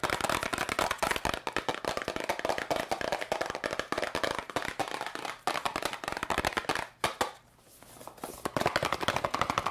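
A small yellow and red cardboard candy box is tapped very fast with long nails, giving a dense run of crisp, dry clicks with a papery, mid-bright tone. The tapping rattles on almost without a break, then goes quiet for about a second before resuming at full pace.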